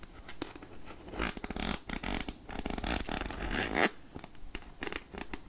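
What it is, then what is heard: Plastic candy jar lid scratched with nails. Long nails scratch along the ridged edge of the black plastic lid on a clear plastic candy jar full of chocolate caramels. The result is a series of raspy, zipper-like scrapes in quick, uneven bursts with short pauses between them. The scrapes have a bright, broad crackle and a dull low body.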